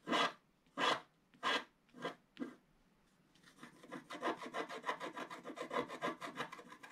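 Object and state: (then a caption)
Wooden stylus scratching wax-coated scratch art paper. A wooden stylus scratches the black coating at the lower left of a flat page of wax-coated scratch art paper. Five separate dry, bright rasping strokes are followed by a faster run of short, closely spaced scratches that blend into a steady rasp.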